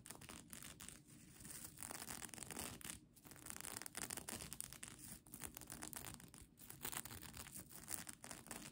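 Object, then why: Plastic sequin blanket scratched with fingernails. Long nails scratch and tap the plastic sequins of a folded sequin mermaid tail blanket held in one hand. The result is a quiet, continuous stream of crisp, bright rustling and clicking with brief dips between strokes.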